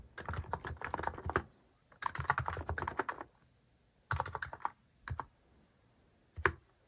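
Fingertips type repeatedly on a cream plastic-case mechanical keyboard fitted with cat- and paw-shaped plastic keycaps. The keystrokes are quick, dry clacks with a low thock and almost no ring. They come in dense bursts of typing broken by short pauses, ending with a few isolated presses.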